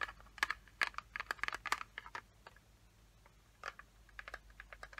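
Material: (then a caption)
Plastic. Long fingernails tap and scratch the lid of a small, closed, hollow yellow plastic watercolor palette case. Quick bursts of sharp, bright clicks with a hollow plastic tone around 2 kHz die away almost instantly. A clustered run is followed by a quieter pause and then a second scattered run of taps.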